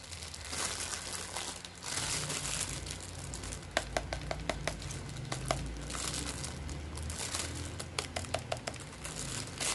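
A clear, thin plastic film packaging bag wrapped around a hand-sized white and blue plastic Hello Kitty toy gun is held in both hands and squeezed with the fingertips. This produces steady, bright crinkling and rustling of the film over a low rumble. Sharp snapping crackles stand out at intervals throughout.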